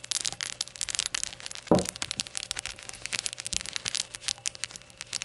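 Long nails tap and scratch the glossy glaze of a small hollow rainbow ceramic shot glass while it is held and tilted. A rapid stream of bright, crisp clicks and scratchy ticks runs throughout, with one louder, fuller tap near the middle-left that rings only briefly.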